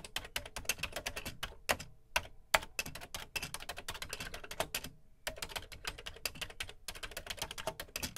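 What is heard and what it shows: Fingertips type quickly on the dark plastic keys of a beige plastic Commodore VC 20 home computer keyboard. The result is a dense run of short, bright plastic clacks with little low end, broken by brief pauses near two and five seconds.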